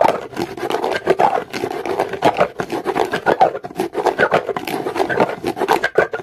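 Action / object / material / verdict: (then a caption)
scrape / rough stone scraped with a comb / stone / none. A comb is scraped quickly across the surface of a solid, dark, rough rock, making a dense, raspy scratching. Fast, rough strokes follow one another with no gaps, their energy in the mid-range around 400 Hz to 1 kHz with brief bright streaks.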